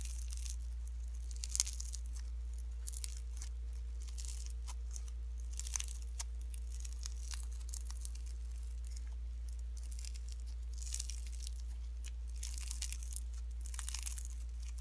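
Fingertips with short nails press and fold a pink lump of slime mixed with shredded cellophane, giving bright, crunchy crinkles. The crackles come in dense, irregular bursts over a steady low hum, with no voices.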